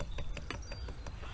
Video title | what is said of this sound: In Search of The Woodland Water Tower | if you tap it, it's metal